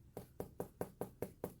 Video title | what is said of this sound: Coffee With a Codex: Medieval Commentary on Aristotle (LJS 234) | you can't hear that well I'm tapping on it it makes a noise